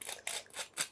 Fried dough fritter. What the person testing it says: vous entendez ça bien croustillant